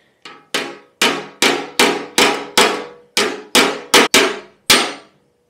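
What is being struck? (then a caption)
Pressed-steel scooter legshield. A large, thin pressed-steel legshield panel on a Lambretta scooter is hammered during repair while a gloved hand braces a dolly behind it. Twelve bright, clanging metal knocks ring briefly at an uneven pace, each with a high, tinny ring that fades quickly.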